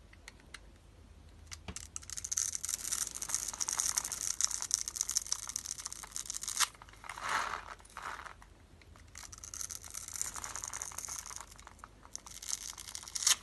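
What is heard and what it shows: A snap-off metal utility blade scrapes and cuts the pre-scored grid surface of a solid magenta oval bar of dry pink soap held in the hand, so small soap cubes crumble off. Bright, dense, crackling scrapes come in long bursts, with a brief lull and a softer, duller swish in the middle before the crisp crunching resumes.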